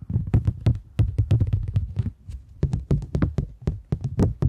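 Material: Polymer plastic.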